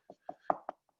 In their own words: there's no stud there because it's low pitched